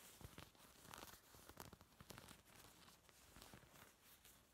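Fingertips scratch and rub over a small black fabric clutch covered in tiny beads, with a silver metal clasp frame, held up close. The result is a quiet, irregular stream of dry, crackling scratches and short gritty rasps.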